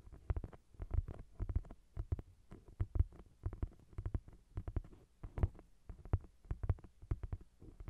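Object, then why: Thick paperback book with glossy card cover. Long nails tap and scratch on the glossy card cover of a thick paperback novel, a solid block of paper. Quick, soft, dull taps arrive in rapid clusters with a low, muffled thud and almost no ring. Faint scratchy rustles fill the gaps between the bursts.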